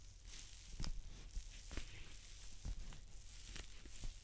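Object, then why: Paper towel roll. Long dark-painted nails scratch and tap a large white paper towel roll lying on its side. A soft, papery scratching hiss runs throughout, broken by dull, low thumps from the taps that die away almost at once.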